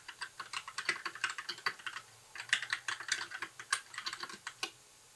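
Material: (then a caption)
Plastic. Fingertips of both hands type continuously on a compact white 60% mechanical keyboard with plastic keycaps and RGB backlight. The result is a quiet, rapid stream of short, bright clacks centered around 2 kHz, with a brief pause near two seconds before the typing resumes and then stops just before the end.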